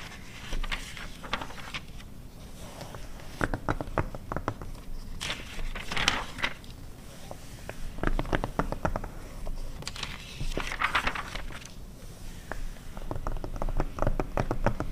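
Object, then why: Glossy paper magazine pages. Long red acrylic nails and fingertips scratch and tap across the pages of an open, thin glossy paper car magazine from 2009 lying flat on a fur rug. Dense, irregular crisp taps and papery scratches crackle against a low background rumble, with a page turn rustling partway through.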